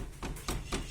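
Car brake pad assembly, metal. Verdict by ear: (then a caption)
Loose. Knocks on a Peugeot Allure 1.6 near the wheel, with the wheel removed, bring out a short metallic rattle from the suspension area. The low, dull thuds come in several separate bursts. The noise comes from a loose part of the brake pad system, which is a fault.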